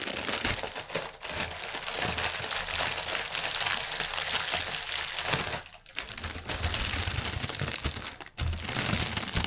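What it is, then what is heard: Plastic air pillow packaging. Fingertips and nails rapidly tap and crinkle the clear film of a strip of inflated plastic air pillow packaging. A dense, bright, continuous crackle of crinkles and quick taps fills the clip, with soft thumps underneath. The crinkling briefly drops away near 5.8 seconds and again near 8.4 seconds.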